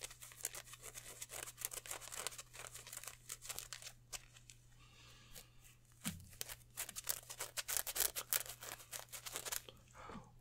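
Hands crinkle, stretch and rub a green polyester mesh football jersey with white number patches, held up in both hands. The result is a fast, irregular run of bright, crisp rustling and crinkling bursts, with a quieter stretch around the middle, over a steady low hum.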